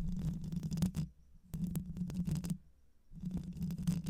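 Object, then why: Metal mesh microphone grille. Long white nails scratch the hollow metal mesh grille of a black microphone, with one hand at first and both hands by the end. The scratching comes in three bursts separated by brief quiet gaps. It sounds like a dense, low, rumbling rasp with a steady hum around 180 Hz and quick scraping strokes.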